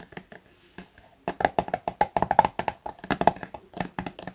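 A small, soft plastic Garnier face-wash tube, apparently filled and held upright, is tapped with fingertips and short nails on its flat cap end and sides. A few soft, sparse taps give way to a quick, louder run of about two dozen dry, hollow clicks with a midrange knock and almost no ring.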